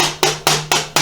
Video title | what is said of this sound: 1983 BMW R80ST Install-Align Front Forks & Toaster Tan Top Brace | that means that the right leg is pushed back